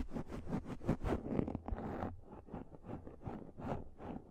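Long nails scratch a pink, fluffy microfiber makeup remover pad close to the mic. The result is a series of soft, rapid, fuzzy scratching strokes with a bright hiss that is strongest in the first half and fades to a duller, quieter rustle.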